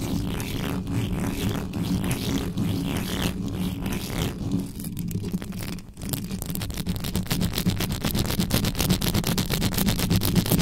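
Long yellow acrylic nails and fingertips scratch fast across the hollow metal mesh grille of a large black USB condenser microphone with no cover. The result is a dense, rapid stream of scratchy, rustling strokes with a heavy low rumble and crisp high edges. The strokes briefly thin out around the middle, then return faster and more intense.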